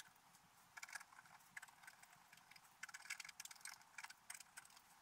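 A wooden stylus scratches details into a flat, black-coated scratch art paper page. Quiet, bright, dry scratching comes in short, irregular bursts of quick strokes, with almost no low end.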